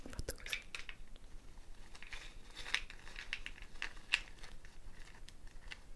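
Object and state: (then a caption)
Gourd shaker with wooden bead net. Long fingernails scratch and rub the wooden bead net of a hollow dried gourd shaker held by its handle. The result is a quiet, close stream of bright, crisp clicks and dry rustling, with a few sharper taps standing out from the soft scratching.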